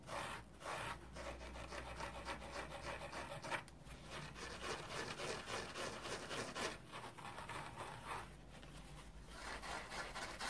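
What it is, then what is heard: Green foam kitchen sponge. A dry, rectangular green polyurethane foam kitchen sponge with a red scouring layer underneath is scratched on its foam side with nails and fingertips. The result is a quiet, continuous, rough rubbing and rasping hiss with loosely uneven strokes and bright, airy texture throughout.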